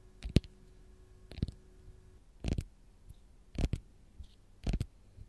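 Long gold nails tap and scratch the peel of a single whole, raw, fresh lemon held in the hand. Short, dry clicking taps with brief scratchy bursts come in small clusters about once a second, with quiet pauses between them.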